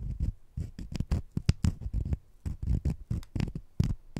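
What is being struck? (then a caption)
Sugar-coated jelly candy. Two small, solid, sugar-coated jelly fruit-slice candies are held in the fingertips while one scratches against the other. The result is a rapid series of soft, dull, short scratchy rubs and pats, weighted heavily toward low frequencies, with faint bright grit on the strongest strokes and almost no ring after each one.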